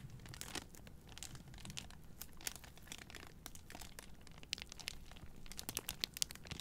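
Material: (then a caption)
Plastic film. Long painted nails and fingertips crinkle and scratch the clear plastic wrap on a hand-sized bundle of three white Native deodorant cardboard boxes, which are held in both hands. The sound is a steady stream of bright, dry crinkling and scratching with many sharp, quick ticks and no ring. A low rumble runs underneath throughout.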